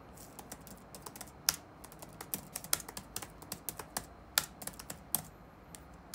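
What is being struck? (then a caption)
Plastic laptop keyboard. Fingertips type on the black plastic keycaps of a dark laptop keyboard resting on a wooden desk. Quick, uneven, bright clicks and taps come in a loose stream, with a few sharper, louder strokes standing out over a faint background hiss.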